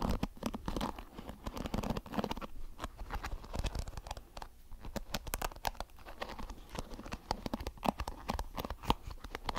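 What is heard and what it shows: A small blue plastic hairbrush with flexible, multicolored plastic bristles is held in one hand while the fingertips of the other hand strum and scratch across the bristles. The result is a dense, continuous run of quick, dry plucking and scratching clicks with short bright snaps, over a low, soft rumble.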